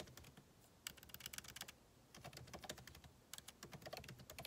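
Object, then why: Laptop keyboard, plastic keycaps in a metal body. Fingertips of both hands type rapidly on a backlit MacBook Pro keyboard, with plastic keycaps in a solid aluminum body, resting on a desk. The key taps come as short, bright, dry clicks in three quick flurries separated by brief pauses.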